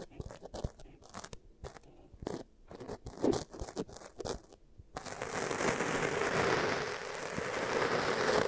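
Long-nailed fingertips poke, press and scratch beige kinetic sand in two small bowls, each with a mic stuck in it. The first five seconds are separate soft, crunchy taps and squishes. Then comes a steady, dense, bright scratching hiss that lasts to the end.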